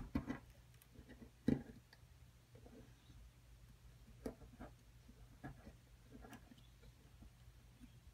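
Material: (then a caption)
Plaster. A metal pick picks and scrapes away crumbly plaster from a solid plaster dig block, which is held steady by a hand with long purple nails. Quiet, irregular scratches and dry ticks stand out over a low steady hum. The sharpest knocks land near the start and around the middle.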